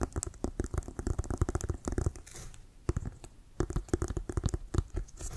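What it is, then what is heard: Synthetic-leather football tapped and scratched. Fingertips and nails tap and scratch around the white laces of an inflated brown Wilson composite synthetic-leather American football held in both hands. The result is a quick run of dull, low, hollow thumps with a dry scratchy rustle, each dying away almost instantly. A brief quieter stretch of soft scratching falls in the middle before the rapid tapping resumes.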